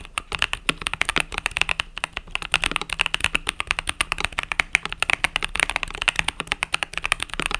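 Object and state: Mechanical keyboard with plastic keycaps.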